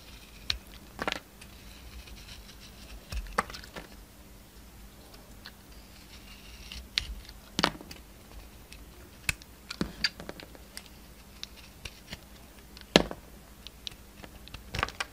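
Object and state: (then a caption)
Bar of soap being cut. A solid oval bar of soap with a blue outer layer and pink inside is held in the hand and sliced and scraped with a pink utility knife. Quiet, scattered crisp cuts and scratchy scrapes snap out sharply with little ring, over a faint steady low hum.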